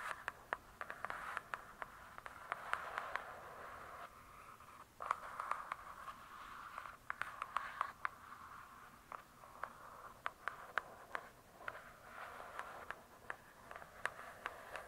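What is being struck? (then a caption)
Hardcover book with glossy cardboard cover. Long pointed acrylic nails tap and scratch on the glossy paper-covered cardboard cover of a large hardcover book lying flat and solid. Quick, dry clicks scatter over soft, papery scratching passages that come and go, with a midrange focus and almost no low end. The overall level stays quiet and close, with each tap dying away almost instantly.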